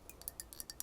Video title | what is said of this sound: ASMR * Theme: Ridged Cologne Bottle * Tapping & Scratching * Fast Tapping * Soft Spoken * ASMRVilla | you can really hear the change of pitch when the liquid of the cologne moves around in the bottle while I'm tapping